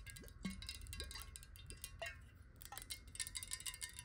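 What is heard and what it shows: A clear, hollow glass water bottle, partly filled with water and held in the hand, is tapped rapidly with long nails. The result is a quick stream of bright, crisp clicks with short ringing glassy tones and brief upward-gliding pitches over a soft low rumble.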